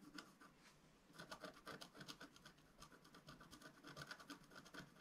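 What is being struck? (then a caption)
Black-coated scratch-art paper scratched with a wooden stylus. A wooden stylus scratches short strokes into the lower right of a flat sheet of black-coated scratch-art paper lying on a table. It makes a quiet, dry, bright scratching with rapid repeated rasps and brief pauses between strokes.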